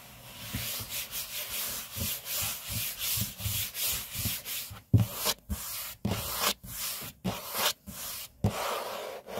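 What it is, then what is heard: Laminate tabletop being rubbed. Both hands rub their fingertips and fingers across a large, flat, solid grey laminate tabletop. Steady, rhythmic strokes make a soft, bright, swishing hiss with low thumps underneath. In the second half, the strokes come in separate bursts with brief silences between them, and a few sharper knocks stand out.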